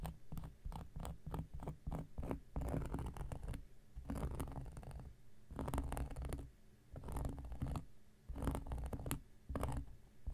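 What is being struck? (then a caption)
Cork coaster scraped with a knife blade. An X-Acto knife blade scratches across a round, flat, solid cork coaster in repeated bursts of short strokes. The scraping sounds dry and low, with a rumbling texture and brief pauses between runs.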